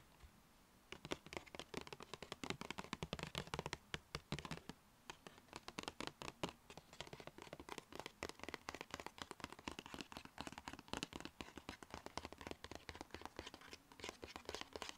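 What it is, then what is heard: Paper shopping bag. Long red acrylic nails tap quickly across the sides of a small, hollow black-and-white striped Sephora paper gift bag. The result is a dense stream of sharp, crisp paper taps and light scratches, with a bright papery edge and very short decay, over a faint low steady rumble.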